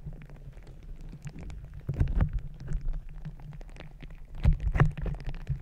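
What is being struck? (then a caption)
Rubber squishy ball filled with gel beads. A palm-sized, green glittery squishy stress ball with a soft rubber skin filled with gel beads is pressed onto the top of a microphone and squeezed and kneaded with fingertips and long red nails. It makes a low, muffled, squelching rumble with a continuous crackle of tiny bead clicks. The sound swells louder around the second and near the end as the ball is squeezed harder.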